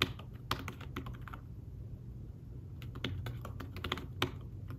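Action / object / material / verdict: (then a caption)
tap / fabric-covered tablet keyboard / fabric / none. Fingertips tap the keys of a thin fabric-covered tablet keyboard case while typing, giving soft, muted clicks over a steady low hum. A burst of keystrokes pauses for about a second and a half, then the typing resumes with a few sharper taps.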